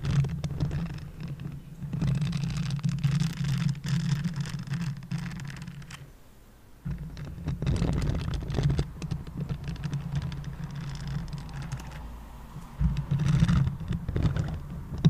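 Fingertips brush and flick the soft bristles of a green silicone basting (pastry) brush, and the bristles are rubbed. This makes a dense, soft scratchy flutter over a steady low hum, with a brief quiet gap around the sixth second before the rubbing resumes.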